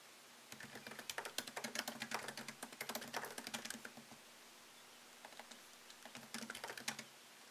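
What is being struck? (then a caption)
Laptop keyboard, plastic keys in aluminum body. Fingertips type on a MacBook Pro keyboard, tapping its low-profile plastic keys set in a thin solid aluminum chassis. Quick, crisp, bright clicks come in a dense burst for about four seconds, pause briefly, then return in a shorter run. Each tap dies away almost instantly over a faint steady hum.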